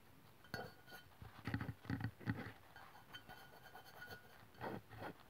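Long pink-white press-on nails on both hands tap the lower body of an upright white aluminium aerosol deodorant spray can, a hollow metal can standing on a wooden table. The result is a quiet, irregular run of short, dull metallic taps, each with a low hollow thud and a light bright click, dying away almost at once.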